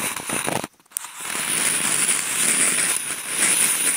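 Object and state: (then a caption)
Corrugated cardboard scratched with toothpicks. Toothpicks held in contact-mic clips are scratched across a large flat corrugated cardboard sheet, giving a dense, bright, crackling rasp with a faint steady high whine above it. The scratching breaks off into near-silence for a moment, then resumes as a continuous gritty scrape that gradually grows a little louder.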